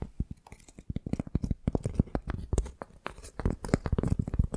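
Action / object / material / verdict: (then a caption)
scrape / flat piece of tree bark / bark / none. Fingernails scratch the rough, cracked, flaky outer side of a flat piece of tree bark held in both hands. The result is a quick run of dry, crackly scratches and crunches, each short and clipped with almost no ring, heavy in low thumpy body with bright, papery edges.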